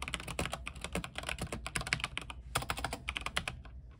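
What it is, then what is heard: Mechanical keyboard with plastic keycaps. A compact mechanical keyboard with white plastic keycaps, a silver case and blue lighting is typed on with the fingertips of both hands. The result is a fast, steady run of short, bright clacking keystrokes with a low thump beneath, each dying away almost at once.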